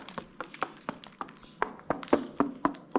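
Knuckles tap lower down on one side of a lime-rendered cave ceiling arch, giving a series of short, dull, hollow knocks. The hollow sound shows the render has not bonded there, so this section is to be removed from about that point down and redone.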